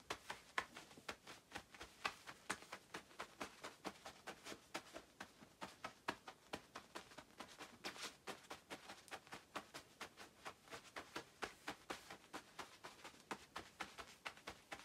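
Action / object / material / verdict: scrape / quilted nylon puffer jacket / nylon / none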